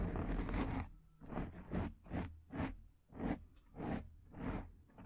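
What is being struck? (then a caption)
Foam microphone windscreen. Long dark painted nails on both hands scratch and rub a large, rounded, soft, porous black foam windscreen on a microphone. A steady run of rough, airy scratching bursts rises and fades one after another, with a dull low rumble beneath and quiet gaps between strokes.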